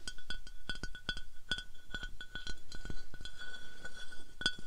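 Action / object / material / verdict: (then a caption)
tap / glass decanter / glass / none. Rapid, continuous tapping on a glass bath oil decanter gives off bright, sharp glass clinks. Each clink carries a short, clear ringing tone that fades quickly, with softer scratchy sounds in between.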